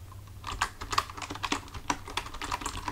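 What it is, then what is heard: Plastic computer keyboard being typed on. Both hands type with their fingertips on a full-size black plastic computer keyboard resting on a desk, producing a quick, uneven run of short, crisp key clicks centered around 1 kHz with bright tops. A faint low hum sits steadily underneath.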